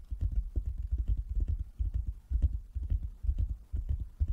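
Fingers tap on a wooden table in a quick, uneven rhythm. Each tap is a dull, low thump that dies away almost at once, with no ring.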